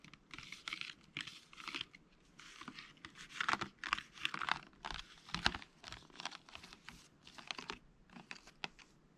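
A hand-sized, rigid, hollow, clear plastic blister pack holding small items is tapped and handled with fingertips and short nails. The result is a quiet, bright, clicky tapping in rapid bursts with a crinkly plastic edge and almost no low end. Each click dies away almost instantly.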